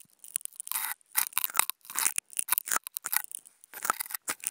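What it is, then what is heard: Non-woven fabric sheet being scratched. Two wooden toothpicks scratch and poke a flat white non-woven fabric sheet, making quiet, irregular bursts of dry, papery scratching broken by short, sharp ticks. The sound is bright and thin, with almost no low end and no ring after each stroke.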